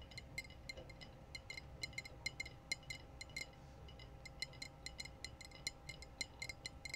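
Long blue nails tap and scratch the curved shoulder and body of a clear glass wine bottle with a foil-capped neck. Quick, bright clinks ring near 2.1 kHz with high overtones and die away almost instantly, in an uneven rapid patter over a soft, steady low hum.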